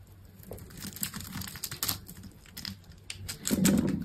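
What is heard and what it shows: A metal box-cutter blade scores and scrapes small cubes from the face of a hand-sized solid green soap bar, making a run of soft, crisp cuts and bright scratchy scrapes over a low murmur. The scraping grows louder and crunchier toward the end.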